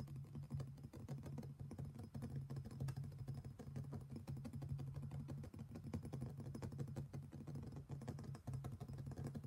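Fingertips and nails tap and scratch the outer wall and rim of an empty, hollow, medium-sized black polished stone mortar with thick walls, resembling granite or marble. A quiet, rapid stream of dense, short clicks and scrapes runs throughout over a steady low tone, each tap dying away almost at once.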